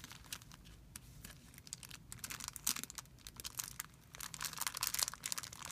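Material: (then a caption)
Plastic film. Fingertips scratch and rub a thin, clear plastic film bag resting on a white surface. The result is a quiet, steady run of bright, crisp crinkling and crackling, with dense rapid bursts that die away almost instantly and louder flurries near the middle and end.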